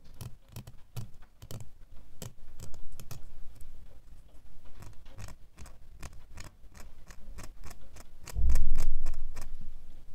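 A small, solid brass or nickel flat metal door key, held between the fingers, is tapped and scratched on its bow and blade with short fingernails. Quick, dry clicks follow in a brisk, slightly uneven rhythm of about four per second, with faint scratching between them. Near the end, a louder low rumble swells briefly before fading.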